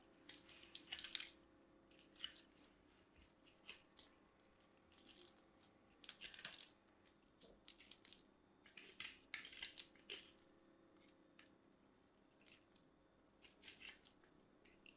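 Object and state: Soap bar grated on a metal grater.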